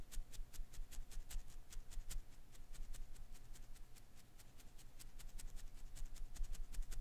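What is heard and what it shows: One hand grips a hand-sized blue and green Koosh ball, made of dense, soft, non-hollow rubber filaments, from above while the fingertips rub and ruffle its strands. The result is a quiet, steady stream of quick, bright, crackly rustles and soft ticks over a low background rumble and a faint constant hum.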